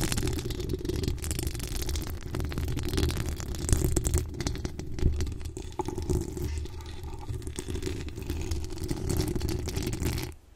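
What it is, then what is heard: Metal mesh microphone grille. Long decorated acrylic nails scratch across the hollow metal mesh grille of a desktop microphone, producing a steady, dense scraping rumble. The sound is heavy in low-frequency content and comes through as close, muffled scratching with rough textured detail, with a few brighter rasps standing out.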